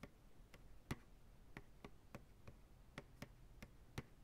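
Fingertips tap slowly and rhythmically on the sides of a large, hollow, empty white plastic ice cream pail turned upside down. Each tap is a short, dull knock with a low body and a faint bright click. The taps are separated by quiet gaps and die away almost at once.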